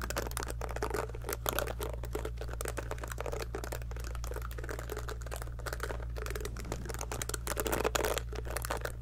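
A small pink heart-shaped silicone scalp massager brush is held sideways while long nails of the other hand pluck across its silicone bristles. A rapid run of soft, dry ticking and crinkly flicks carries on over a steady low hum, with a few louder plucks standing out.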